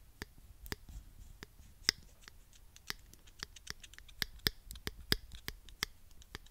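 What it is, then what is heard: Plastic claw hair clip. A small pink plastic claw hair clip is held in one hand while fingertips click and squeeze its hinge and teeth. Thirteen sharp, bright, dry clicks ring out at irregular intervals, each dying away almost instantly over a faint, low rustle.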